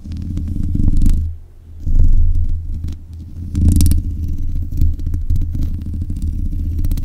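Long nails scratch the metal mesh grille of a black USB condenser microphone. The result is a dense, boomy rumble of scraping and rustling, dominated by deep low-end, with one brief lull about a second in and a few sharper bright crackles scattered through.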